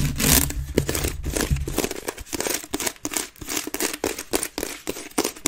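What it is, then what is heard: Wicker basket bin. Long red nails on both hands rapidly scratch the woven base of a grey wicker waste bin held upside down, hollow and empty. The result is a dense, fast, crackly rasping with bright, papery texture, rising and falling in quick bursts, with a low rumble under the first second and a half.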